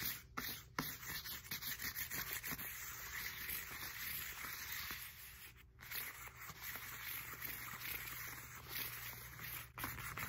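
Long nails scratch along the ridges and knobs of a black textured foam roller with a hollow core. It makes a dense, bright, continuous scraping texture, with a low steady hum underneath and a few brief pauses. The scratching comes back quickly after each pause.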